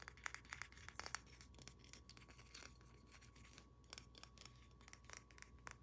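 Long nails tap and scratch across the back and sides of a solid, hand-sized carved wooden pig with a polished surface. Quick, dry, bright clicks come in irregular bursts, separated by soft scraping, and each tap dies away almost instantly. The whole clip stays quiet and close.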